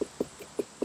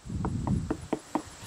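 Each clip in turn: First: unripe watermelon. Second: ripe watermelon.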